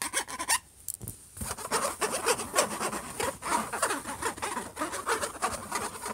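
Fingertips and short nails scratch a closed silver HP laptop lid near the logo. The result is a rough, dry, rasping scratch in quick, irregular strokes with a bright, hissy top, pausing briefly near the start before continuing steadily.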